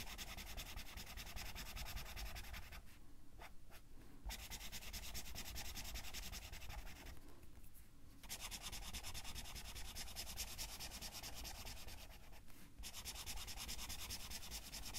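A colored pencil with a black barrel is rubbed in fast shading strokes across the page of an open paper coloring book lying flat. It makes a steady, dense scratchy rubbing with a bright hiss. The strokes pause briefly three times.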